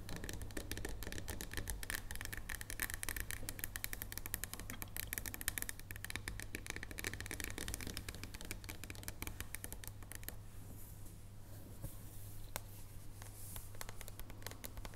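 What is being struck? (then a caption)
Dark chocolate bar. Long blue-painted nails tap and scratch rapidly across a solid, flat dark chocolate bar with embossed squares, first as it rests on a wooden table and then after it is lifted. The quick, crisp clicks and scrapes run continuously over a steady low hum, turning softer and less bright after about ten seconds.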